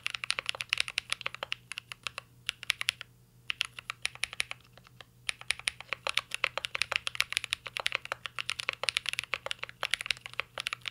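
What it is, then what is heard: Mechanical keyboard with plastic keycaps. Fingertips type continuously on a mint-green Cyberboard R3 mechanical keyboard with a metal case and plastic keycaps. Rapid, bright, crisp key clicks and clacks die away almost instantly, with a couple of brief pauses between bursts of typing.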